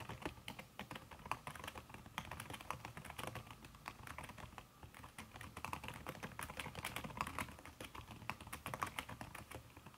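A backlit aluminium laptop keyboard fitted with a red silicone key cover is typed on fast by fingertips with long red nails. The clip is a dense, steady stream of soft, muted key taps with short clicky ticks mixed in. There is no talking.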